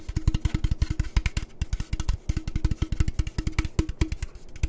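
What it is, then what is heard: Aluminum drink can. A tall orange aluminum Monster energy drink can, hollow with its fill level unknown, is held in one hand and tapped with the fingertips of the other. The result is a rapid, uneven string of short, deep, hollow thumps with almost no ring or brightness.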